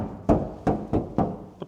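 An untreated steel panel on a Sprinter van door, still in factory condition without sound-deadening mats, is tapped five times for comparison. Each tap gives a hollow, drum-like thunk centred in the low mids, with a short ring that fades within a fraction of a second. The last tap is softer.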